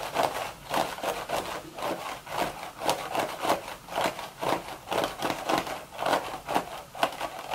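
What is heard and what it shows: Long red nails rub and scratch along the hollow woven crown of a beige straw hat. About fourteen dry, raspy strokes come in an uneven rhythm, each a brief scraping burst centered in the midrange with a bright, hissy edge and almost no low end.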